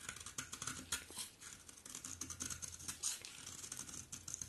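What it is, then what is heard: Dry bar soap being scraped. A utility knife blade scrapes curls from the face and edge of a solid, dry, terracotta-pink bar soap. It makes a dense run of crisp, bright scratching strokes with a dry, papery rasp, each stroke dying away almost at once. Faint low rumble sits underneath.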